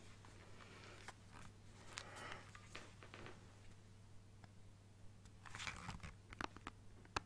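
Fingernails tap and scratch the back and sides of a black plastic Nintendo Switch handheld console with green Joy-Cons attached. The result is soft, dry clicks and brief scratchy rasps, a few sharper bright ticks standing out near the end over a steady low hum.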